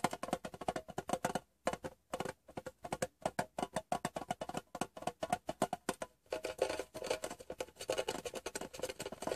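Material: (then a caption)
Metal. Fingertips and short nails tap rapidly on the bottom of a small, hollow, rectangular metal Wrigley's chewing gum tin turned upside down on fabric. The result is bursts of quick, dry, hollow clicks with a tinny midrange ring that stop almost instantly. A brief pause separates the rhythmic runs, and the last few seconds turn into a denser, scratchier patter.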